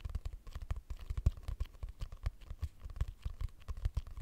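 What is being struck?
Paper notebook with cardboard cover.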